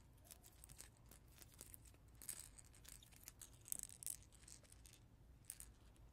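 A hand-sized ring teether shaped like a caterpillar, made of translucent blue plastic segments that are likely water-filled, with colored beads and a yellow head, is held in both hands and tapped and scratched with natural nails. The result is quiet, bright, crisp scratching and clicking that comes in irregular bursts, with a few sharper high taps over a faint low rumble.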